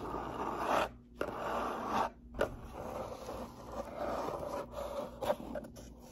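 Fingernails scratch and rub along the top edge and face of a closed, hollow brown cardboard box. The result is a dry, papery scraping focused in the mids, in rasping bursts broken by brief silences, with a few sharper scratchy accents.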